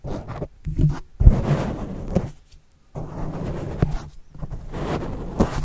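A white plastic stylus tip writes and scratches across a black foam windscreen covering a microphone, then is pulled back. Heard close up, the sound is a muffled, low-heavy rubbing and scratching in uneven bursts with brief silent gaps and a few soft thumps.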